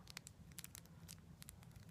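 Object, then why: Wax candle. Fingers tap on a wax candle in a quick, irregular series of soft, dry clicks with crisp high ticks, over a steady low hum. It is a basic, nice tapping sound.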